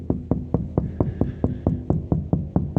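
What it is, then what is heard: Water tank about two-thirds full. A hand taps steadily on the wall of the second 2500-gallon shop rainwater storage tank, giving an evenly spaced run of short, dull, low thuds with almost no ring. The taps sound hollow above the water line and change where water sits behind the wall, showing the tank is about two-thirds full.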